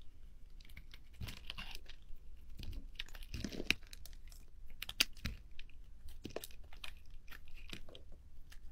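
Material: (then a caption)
Soap. A metal blade cuts and shaves thin curls off the surface of a solid pale green bar of soap held in hand, and the shavings pile up on the table. Soft, crisp scraping and crunching strokes come in short bursts with bright, crackly edges, plus a couple of sharper clicks. Each stroke dies away almost instantly over a faint low background hum.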